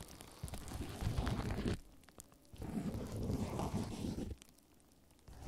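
Fingertips scratch and rub clear, air-filled plastic bubble wrap covering a microphone. The result is two bursts of dense, crackly rustling with a heavy low rumble, separated by quieter pauses.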